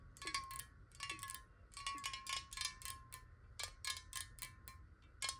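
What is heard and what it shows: Long acrylic nails tap fast on a large, clear glass water bottle that is hollow, partly filled with water, and held horizontally in both hands. Bursts of bright, clicky taps come in irregular clusters, each leaving a short glassy ring near 1.1 kHz that fades quickly.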